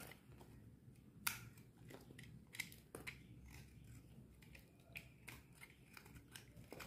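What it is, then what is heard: Dry bar soap being shaved. A metal utility knife blade shaves thin curls from a solid purple bar of dry soap held in the palm. Irregular, crisp scraping cuts with bright edges come about every second or so, over a quiet low rumble.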